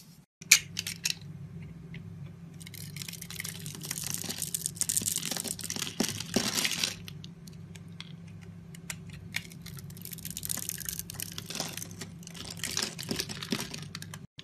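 A sharp blade carves a solid rectangular pink soap bar with a pre-scored surface, held in the palm, and small cubes crumble off. A sharp click opens the clip, followed by bright, crisp crunching and scraping in dense bursts, with a steady low hum underneath.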